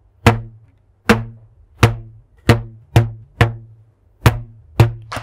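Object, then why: Stretched rubber band. A thin purple rubber band, held stretched between the hands, is plucked repeatedly with the fingertips. Nine plucks give low, twangy, percussive thwacks, each a sharp attack that hums briefly and decays quickly; the last is softer.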